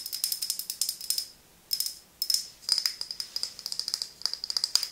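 A medium frosted glass serum bottle with a silver pump top, held in both hands, is tapped rapidly with long nails. Bursts of light, bright clicking taps carry a faint high glassy ring, broken by two short pauses before the tapping resumes. The taps stay crisp and thin, with no low body to them.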